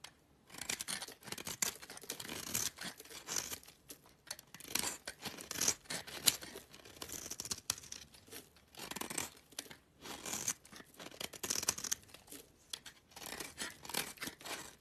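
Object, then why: Bar of soap. A black utility knife blade scrapes curls off the face of a small, solid, oval cream-colored soap bar held in the hand. Quiet, bright, dry scraping comes in repeated short bursts with brief pauses between strokes, carrying almost no low end.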